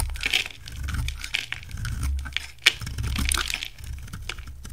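A hand-sized solid green oval bar of soap, held in one hand, is shaved along its rim with a utility knife, and green curls fall off. Dry, bright scraping and crisp crunching strokes come in bursts over a low rumble, with one sharp crack standing out near the middle.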